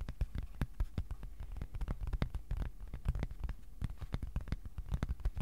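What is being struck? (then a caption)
Thin cardboard sheet. A thin, flat white cardboard sheet about A4 size is held in both hands and tapped with the fingertips on its face and edges. It gives a quick, irregular patter of soft, dull, low thumps that stop short with almost no ring.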